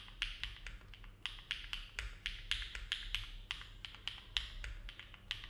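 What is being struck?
Mechanical keyboard with plastic keycaps.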